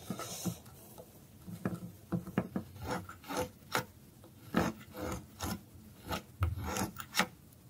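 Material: Soap.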